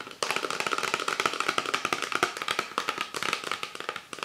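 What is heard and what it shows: Fingertips and nails tap and scratch along the body of an empty, hollow, clear PET Pepsi Sakura bottle with a white plastic cap and printed label, lying on its side on a book. The result is a rapid, uneven run of sharp, dry plastic clicks and brief scratches. A faint hollow tone sits around 1.3 kHz, with bright crackly edges and very short decay.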